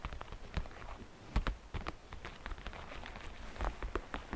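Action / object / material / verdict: tap / hollow plastic basket / plastic / none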